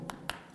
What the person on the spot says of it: Le dos, on est en plastique, polycarbonate blanc, excusez-moi, dur.